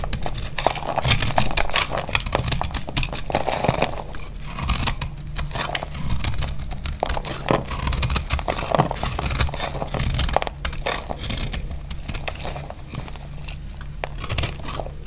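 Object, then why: Bar of soap. A utility blade scrapes across a solid, hand-sized dry purple (lilac) soap bar, peeling off curly shavings. Dense, crisp crackling and crunching scrapes fire in rapid, uneven bursts for the whole clip over a steady low hum. The strokes come and go in slightly louder and quieter stretches.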